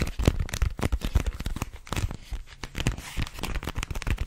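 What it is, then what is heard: Rolled paper tube scratched and tapped. Long fingernails scratch and tap along a long, hollow roll of white paper held in both hands. The result is a dense run of quick, dry, crinkly scratches and soft taps with a low, hollow thump and almost no ring.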